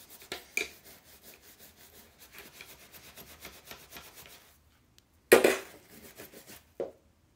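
A solid steel golf iron head, held by its shaft and covered in soapy foam, is scrubbed with a bristle cleaning brush. Quick, rhythmic, wet brushing strokes with a bright rasping texture run steadily, then stop for a short pause. A louder, sharper scrub follows, then a few lighter strokes and one final brisk swipe.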